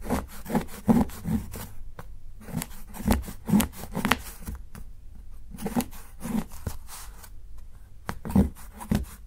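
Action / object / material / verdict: scrape / dark chocolate bar and steel knife / chocolate / none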